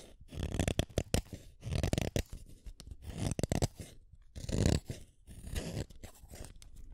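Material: Wood.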